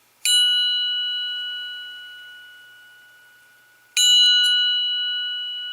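A steel chromoly camshaft timing gear is tapped twice in a ring test, and each strike produces a clear, high-pitched bell-like ring that sustains for several seconds. The clean ringing confirms it is a true steel chromoly cam gear.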